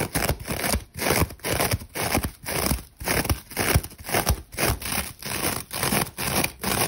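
A hand-sized rectangular kitchen sponge held in one hand, its face covered with a glittery gold metallic-tinsel scouring layer, is scratched fast and hard by long acrylic nails. Rough, crunchy scratching strokes repeat in quick bursts of broadband noise, with brief dips between strokes.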